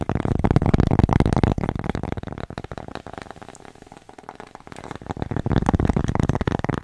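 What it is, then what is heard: Cork coaster. Long nails rapidly tap and scratch a thin, flat, square cork coaster with a red dot, held solid in the hands and moved from far to close to the mic. The quick, dull, low-heavy taps are loud at first, fade in the middle, then grow loud again toward the end.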